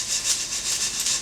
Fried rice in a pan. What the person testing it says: i'm listening for it to be scratchy a little bit